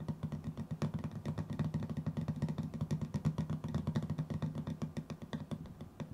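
A hollow, hand-sized cylindrical metal tin with a white lid is held in the hands while fingertips and nails rapidly tap and scratch its lid and side. The result is a dense stream of quick, dry clicks and soft scrapes over a low, hollow resonance, with a faint bright edge on the sharper taps.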